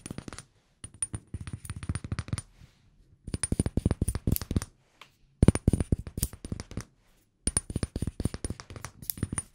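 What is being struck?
Glass room spray bottle.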